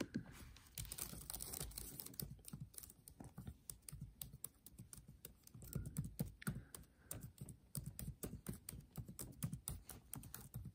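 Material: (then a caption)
Plastic. Fingertips type and tap quickly across the black plastic keys of a MacBook Air keyboard set in an aluminium body. The result is a steady run of short, soft, dull clicks with little ring, irregular in rhythm over about eleven seconds.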